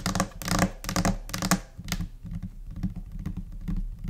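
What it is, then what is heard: Laminate desk top. A large, flat white desk top, likely laminated particleboard, is tapped with the long nails and fingertips of both hands. Quick, uneven clusters of sharp clicking taps with a low, dull thud underneath fall in scattered rhythms, each tap dying away almost at once.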